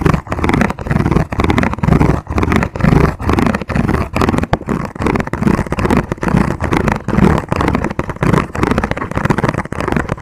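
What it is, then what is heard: Plastic food container tapped and scratched. Fingertips and nails tap and scratch quickly along the ridged sides of a transparent, ribbed, hollow, empty plastic food container held close to the mic. The result is fast, dense clicking and raspy scraping in rapid bursts with short gaps between them. The sound has a hollow, low-pitched body and very little brightness, and each tap dies away almost instantly.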